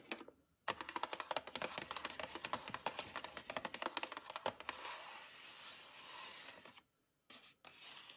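Long acrylic nails tap and scratch the plastic lid of a medium, round Daisy sour cream tub that is likely full. Quick, bright, irregular clicking taps fill most of the clip, then give way to a steady papery scratching. After a short silence, a few brief scratches follow.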